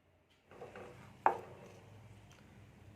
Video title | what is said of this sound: బొరుగు ముద్దలు recipe// borugu muddalu recipe//మరమరాలు ఉండలు తయారీ విధానం//Kavya nagella.. | ఇది బాగా ఉంటంది అట్లా కొడితే సౌండ్ వస్తుంది